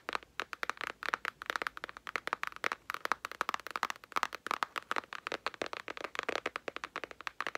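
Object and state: Cardboard palette box.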